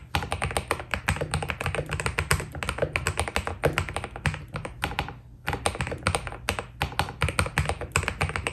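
Fingertips of both hands type continuously on a white Keydous NJ80 mechanical keyboard with PBT plastic keycaps, a steel plate and foam inside. A rapid stream of short, deep clacks with a low thocky body and a bright click on top pauses briefly near the middle, then resumes.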